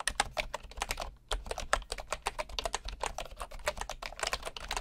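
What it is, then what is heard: Bamboo computer keyboard. One hand types with the fingertips on a bamboo computer keyboard with wooden keycaps and a hollow housing, producing a fast, steady run of short, dry, bright tapping clicks. The taps have a hollow woody knock and stop almost instantly. There is a brief pause just after the first second and a faint low hum underneath.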